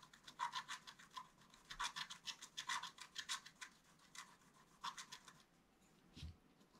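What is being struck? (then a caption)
Black-coated scratch paper scratched with a wooden stylus. A wooden stylus scratches a flat black-coated scratch art paper card with short, quick strokes. The result is a rapid series of dry, bright scratching rasps centered near 1 kHz. Each stroke fades almost instantly, and a faint low thump comes near the end.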